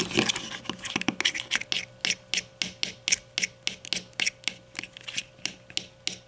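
Long nails tap and scratch the bottom rim and twist knob of a grey plastic deodorant stick. The result is a quick, unevenly spaced run of crisp, bright plastic clicks and short scrapes, about three per second. Each sound dies away at once over a faint steady hum.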